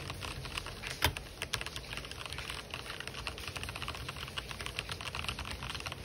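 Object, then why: Plastic mechanical keyboard. Fingertips type fast and densely across the WASD area of an RGB-backlit mechanical keyboard with white and black plastic keycaps. The result is a continuous run of bright, short plastic clacks with one louder strike near the one-second mark, over a steady low background hum.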